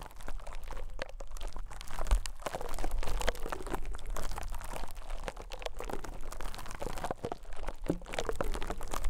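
A rose-gold metal pick pokes and scrapes the surface of a small, soft white konjac sponge resting on a microphone capsule. It makes a steady stream of close, crackly, crunching scratches over a heavy low rumble, with irregular soft pops that rise and fall in intensity throughout.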